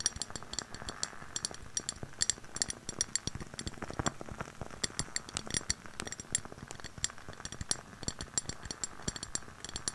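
Long painted nails tap and scratch the sides of a lit candle in a medium clear glass jar with a white label, held in both hands in front of a fluffy mic; the jar holds solid wax and has a hollow upper rim. Many quick, bright clinking taps ring out over a soft scratchy hiss. Each tap dies away almost at once.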